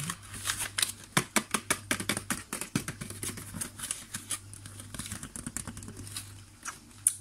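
A small, hollow, clear plastic clamshell box holding chocolate cupcakes, with a cardboard label sleeve, is held in the hands and tapped and squeezed with fingertips and nails. A rapid, irregular series of sharp, dry, bright clicks and crinkly plastic taps dies instantly with no ring, over a faint steady low hum.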